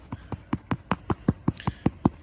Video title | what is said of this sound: How to install putting green- Avoiding cutting mistakes | it kind of makes a hollow sound